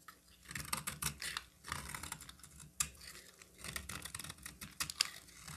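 A utility knife cuts into a solid orange bar of soap held in the hand, breaking it into flakes. Quick, crisp crackling scrapes and snaps come in short bursts, bright and dry with almost no ring. Sharp louder snaps stand out between the softer scraping.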